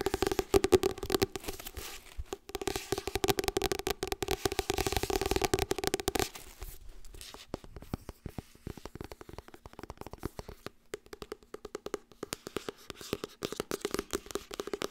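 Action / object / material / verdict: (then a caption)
tap / hardcover book with glossy cover / cardboard and paper / none. Long red nails rapidly tap and scratch the spine and page block of a glossy Harry Potter hardcover book held flat, with its purple and green spine showing. The first six seconds are a dense, continuous run of scratchy clicks with a hollow midrange tone around 380 Hz. The rest breaks into sparser, crisp taps with short pauses, each dying out almost instantly.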